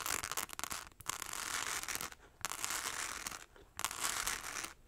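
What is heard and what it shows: Long acrylic nails scratch fast across a small, hollow, rectangular clutch purse covered in tiny rhinestones, held in both hands. A choppy, crackly opening gives way to three sustained bursts of bright, gritty scratching, separated by brief pauses.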